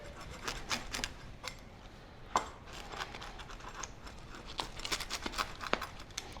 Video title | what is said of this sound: How to Make Easy No-Fail Sourdough Pizza Dough - Recipe for Beginners | Can you hear how crispy this crust is?